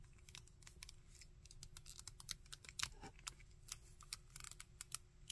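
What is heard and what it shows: Fingertips and thumbnails tap and scratch the textured torso, arms and legs of a hard plastic Shocker action figure and click its joints. The result is a quiet, rapid run of short, dry, bright ticks and clicks that die away almost instantly, with a faint steady hum and low rumble underneath.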